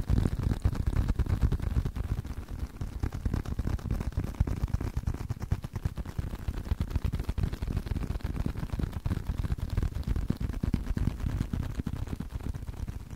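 A leather card wallet is tapped continuously with quick, irregular, dull taps, about three per second. Each tap is a short, soft, low thud with almost no ring, and the tapping keeps a steady level throughout.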